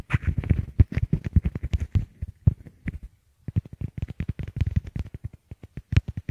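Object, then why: Small plastic earbuds. Fingertips tap and rub a pair of small white hollow plastic Apple EarPods, which are the recording microphones, both at once as they rest on a wooden table. It makes rapid, dense, muffled low thumps with very short decay and a faint scratchy rustle. A brief silence falls just past the midpoint before the quick tapping resumes.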